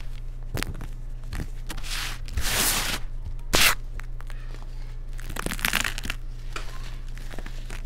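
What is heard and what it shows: Fingers and fingertips pinch, crush and rub crumbled chunks of solid baked baking soda cake into loose white powder. Dry crunching, tearing and crinkling bursts come in uneven clusters, with a broader bright hiss around the middle and a sharp crack just after it. A steady low hum sits underneath throughout.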